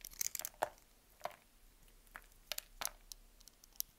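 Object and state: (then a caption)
Green soap bar being cut. A small yellow-handled knife cuts a grid into a solid, dry, palm-sized green bar of soap held in the hand and shaves off small cubes. It makes a quiet series of short, crisp crunching and cracking snaps with bright, papery crackle and almost no low end. Each snap dies away instantly between faint scraping sounds.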